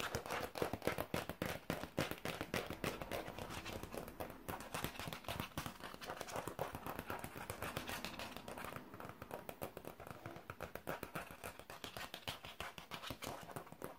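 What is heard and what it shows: A thin, flat, translucent plastic folder or sleeve with a green gecko print, held upright in both hands, is tapped and scratched with painted fingernails. The result is a fast, uneven stream of quiet, crisp plastic clicks and scratches that die away almost instantly, continuing for the whole 14 seconds.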